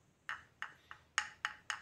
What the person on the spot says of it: ketika diketuk oleh obeng ini suaranya tidak nyaring ya Jadi ini berbahan plastik